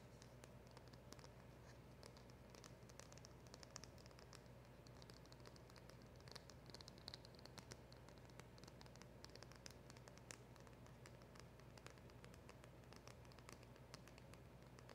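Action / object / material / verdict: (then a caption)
tap / small cardboard packaging box / cardboard / none. Long acrylic nails tap and scratch across the surface of a small, hollow black printed cardboard box, a silver polishing cloth package with a round emblem sticker, held in the hands. Quiet, rapid, closely packed clicks and dry scratchy rustling with bright edges continue throughout, over a steady low hum.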